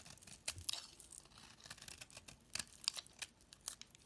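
A solid cream-white soap bar with remnants of a purple decorated coating, held in the hand, is carved and scraped into flakes with a metal utility knife blade. Quiet, bright, dry scraping and crisp shaving strokes come in short bursts with little low end, separated by soft pauses.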